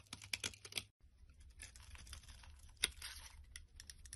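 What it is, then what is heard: Bar soap being shaved. A small black blade scrapes and shaves the top edge of a solid orange soap bar with white stripes held in the palm. Quiet, bright, crisp scraping ticks come in a quick cluster, break off briefly, then continue as a soft, steady shaving hiss with one sharper click partway through.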